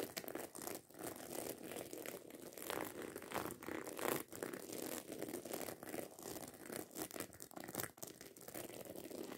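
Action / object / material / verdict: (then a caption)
scrape / fabric handbag with small metal studs / fabric, metal / none. Long acrylic nails scratch and tap quickly over the rows of small metal studs on a hollow black fabric handbag. The result is a dense, irregular stream of crinkly, scratchy clicks and taps with a bright edge, continuous for the whole clip with brief dips in loudness.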